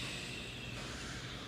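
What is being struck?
Nothing is struck.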